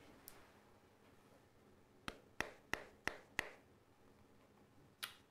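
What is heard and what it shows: A mobile phone is tapped with a finger, giving seven short, sharp, dry clicks with a slight buzzy rattle: a faint one at first, then a quick run of five and one last click. This is the strange vibration noise that both an iPhone 5 and a Samsung phone make when tapped, with no explanation known.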